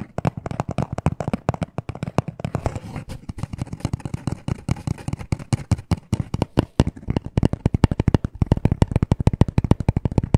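Fast tapping with short nails and fingertips on a small, hollow black cardboard necklace package gives a dense stream of short, dry, low hollow taps. The taps run continuously with no ring, getting sharper and more evenly spaced toward the end.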